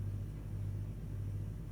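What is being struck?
Nothing is struck.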